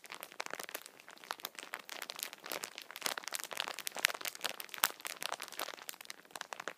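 Both hands squeeze and crinkle the clear plastic wrapper of a full, hand-sized Kinder chocolate bar multipack with their fingertips. The result is dense, irregular crackling and crunching that is bright and thin, with almost no low end. Sharper snaps stand out now and then over the steady rustle.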